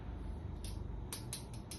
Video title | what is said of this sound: Review Unboxing RGT EX 86110 Pioneer 4WD RC RTR Adventure Offroad Crawler Recommendation | Ini mirip-mirip kayak metal ya, tapi kalau kita ketok, ini masih plastik.